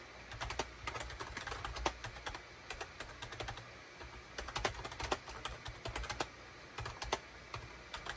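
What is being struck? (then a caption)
Plastic computer keyboard. Fingertips type rapidly on a full-size gray and cream SHIPADOO K600 wired USB keyboard, with a hollow plastic case and plastic keycaps, resting on a desk mat. Around forty quick, bright plastic clacks and taps come in uneven bursts over a faint, steady low hum.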